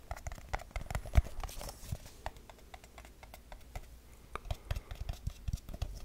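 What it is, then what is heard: Aluminium tin tapped. A small, round, hollow silver aluminium tin is held near the mic and tapped quickly with fingertips and nails on its lid and sides. The taps come as a fast, uneven stream of short, dry clicks with a dull low thump beneath them and almost no ring. One tap near the start is noticeably louder than the rest.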